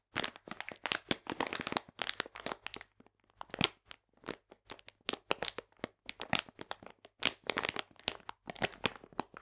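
A full plastic bag of polenta is held upright in both hands while fingernails scratch and tap its back. Dense, bright crinkling and crackling come in bursts of quick taps and scrapes separated by brief pauses, each sound dry and very short.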